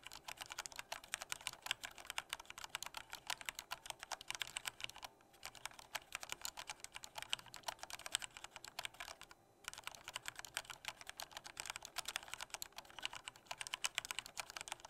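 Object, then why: Plastic mechanical keyboard. Fingertips of both hands type lightly on a full-size black plastic Corsair K68 mechanical keyboard with Cherry MX Red switches and a hollow body. A fast, steady stream of short, bright, clacky keystrokes with almost no low end runs throughout, broken only by two brief pauses near 5 and 9.5 seconds.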